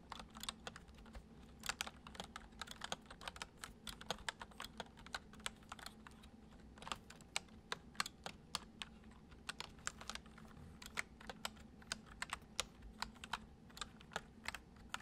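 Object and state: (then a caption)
Plastic computer keyboard being typed on. Fingertips of both hands type gently on a white plastic computer keyboard, producing a quiet, steady stream of quick, bright key clicks that stop dead with no ring. A faint, constant low hum sits underneath the typing throughout.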